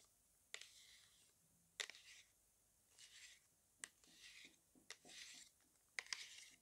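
Long acrylic nails tap and scratch the sides and edges of a small, closed, white printed cardboard box with a barcode, held in both hands. Several sharp, bright clicks alternate with softer, hissy scratching swells at a quiet level, each tap dying away almost instantly.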